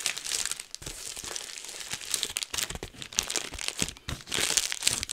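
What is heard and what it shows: Clear plastic bubble wrap is held in both hands while fingers squeeze and pop the bubbles. The result is a continuous, bright crinkling rustle broken by many sharp, short pops and crackles, with almost no low end.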